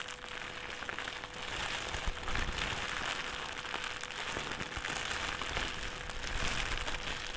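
A thin white plastic trash bag is crumpled, then stretched out and rolled on a table with both hands. A dense, continuous crinkling with bright, hissy crackles holds at a fairly steady level throughout, over a faint constant hum near 500 Hz.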